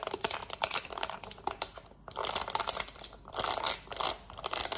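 A black plastic TV remote is held close while long nails tap and scratch quickly across its number buttons. The result is a dense run of crisp, bright clicks and scraping rasps, with little low end and only brief lulls.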